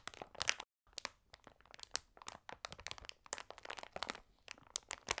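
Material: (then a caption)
Plastic. A large glossy plastic bag of Trolli Multi Mix (300 g), full of individually wrapped sweets and lying flat on a table, is pressed and scratched by both hands with long red nails and fingertips. The result is dense, bright crinkling and crunching made of many short, sharp crackles, with a brief silent gap near the start.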